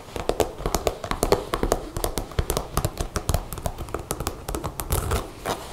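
Long blue nails rapidly tap and scratch the panels of a dark brown leather jacket with a brass zipper and snap pockets. The result is a quick, uneven run of dry, dull taps with a low thud and a soft scratchy rustle, each dying away almost at once.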